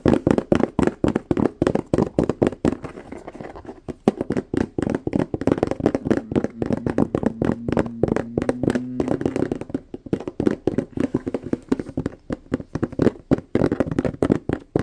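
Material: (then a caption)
Plastic. Fingertips and short nails tap rapidly across the flat, textured surface of a medium rectangular purple plastic food container lid, thin and hollow-backed, held in both hands close up. Dozens of quick, dry, hollow clicks come in dense bursts with brief pauses. Each tap stops almost at once, with a low-mid body and little high-end sparkle.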